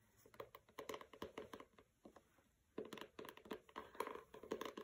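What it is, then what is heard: Hardcover book with matte paper jacket. Long red nails scratch the matte paper dust jacket of a pink hardcover book, "Don't Overthink It," lying on a carpet with a fabric bookmark untouched beside it. Quick, dry, crinkly scratching strokes come in dense bursts, with a brief quiet gap in the middle before the scratching resumes more strongly.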